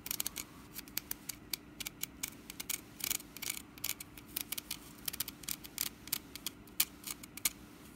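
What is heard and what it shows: Long nails scratch and tap the woven sides of a small, hollow, orange wicker pumpkin basket. The result is a quick, uneven run of dozens of dry, bright clicks and crackly scratches, each dying away almost instantly over a faint steady low hum.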